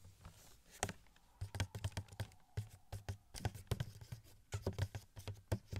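Fingertips tap a small, hollow cardboard Wasp Funko Pop box with a clear plastic window and the figure inside. About two dozen quick, soft taps come in uneven bursts, each a dull, low hollow thump with a light papery click on top. Every tap dies away almost at once.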